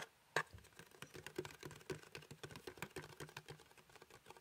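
Fingertips and nails quickly tap the printed surface of a small, hollow cardboard box shaped like a gingerbread house, held in one hand. A fast run of light, dry, papery clicks follows a sharper first tap, each dying out almost at once.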